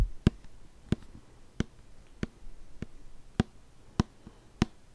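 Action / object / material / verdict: tap / plastic shampoo bottle / plastic / none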